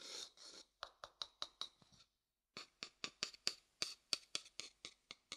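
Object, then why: Light wooden bowl struck with a thin wooden stick. A medium, hollow, light wooden bowl is held upside down while a thin wooden stick scratches and taps its base and outside. Two brief dry scratches are followed by a run of quick, bright, sharp taps, a short silence, then another steady run of crisp taps. The sound is quiet, thin and high, with almost no low end and no ringing after each tap.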